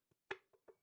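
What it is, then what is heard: Cracked slag lump, sounds hollow. A cracked lump of slag is tapped five times, giving short, dry knocks with a hollow, mid-pitched tone and almost no low end. Each tap dies away almost at once, and the third is the loudest. The piece sounds hollow because of the crack running through it.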